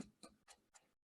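Four light, evenly spaced taps on cross-stitch fabric stretched tight in an embroidery hoop like a drum. Each gives a short, dry, muted tick. The fabric is nice and tight, in a good spot, and won't move around.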